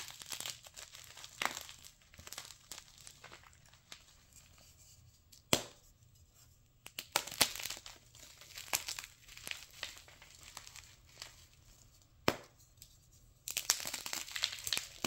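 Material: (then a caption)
Chalk. Palm-sized pieces of solid, dry, brittle white gym chalk (magnesium carbonate) are snapped apart and crumbled by hand between fingers and thumbs. Dry, bright crunching and crinkling crackles come in bursts, with a few sharp, louder snaps standing out, and almost no low-end weight.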